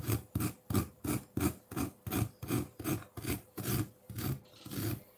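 A metal fork scrapes a solid block of colored ice in a ceramic bowl, cutting off frosty shavings. A steady run of rough, rasping strokes repeats about three times a second, each a low, gritty scrape with a bright, hissy edge.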